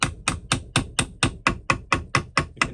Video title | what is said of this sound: Shrigleytube TV ep12 xe dyno run, imp gearbox check over and visit from Gerald and the carter engine | gently tap this re hous in this Hammer you can hear the note change as he starts to lift